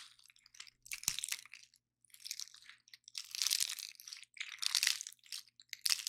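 A large, dry pine cone with stiff woody scales is held in both hands while fingers and nails crush and snap the scales off. Bright, dry crunching and crackling comes in irregular bursts separated by brief quiet gaps, with a few sharp snaps and almost no low end.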